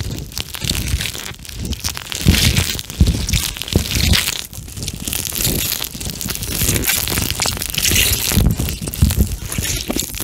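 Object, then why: Plastic eye mask filled with gel beads. A pink plastic eye mask filled with gel beads is squished and bent between both hands over the mic, with fingertips pressing the beads. The result is a steady run of soft, squishy crunching and crinkling, with bright crackle on top and dull low thumps underneath, swelling and easing as the mask is worked.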